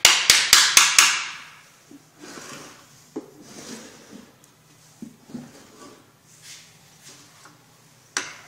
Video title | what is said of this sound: Bomba Centrifuga no Arranca /Solucionado | Тези удари не са толкова силни, за да не се счупи алуминия. малко по малко се разхлабва. Промяната на звука се чува веднага.